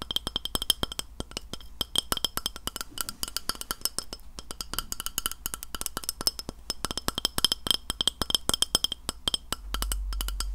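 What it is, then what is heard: Glass plate tapped with fingernails. Long fingernails tap rapidly across the surface of a round, flat, solid white glass plate held upright close to the mic. The result is a dense stream of sharp, bright clicks with a short glassy ring around 3 kHz, and a low steady hum rises in the last second.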